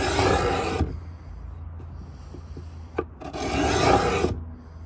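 A metal Stanley 66 beading scraper, held in both hands, is drawn along the corner edge of a pine wooden box. Two long, rough, bright scraping strokes are separated by a quiet pause with a low hum and a short sharp click just before the second stroke.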